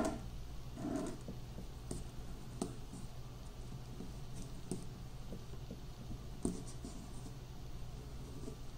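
A hand grinds finely chopped peanut pieces in a granite mortar with a granite pestle, using circular and pounding motions while the other hand holds the bowl. A quiet, gritty crunching and scraping against the stone runs throughout, broken by a few sharper, short knocks.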